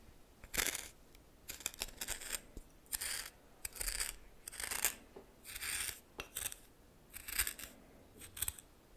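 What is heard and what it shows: A red plastic spoon stirs and scrapes a pile of white coarse salt in a small, seemingly glass bowl. Bursts of bright, scratchy crystal grinding come in short strokes separated by brief pauses.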